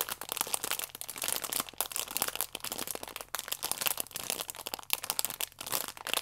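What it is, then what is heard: Plastic-wrapped stack of sachets crinkling. A flat, plastic-wrapped stack of yeast sachets is held in both hands while nails scratch and thumbs squeeze the plastic film. The result is a dense, continuous stream of bright, crisp crinkles and short crackles, mostly high in tone with almost no low end.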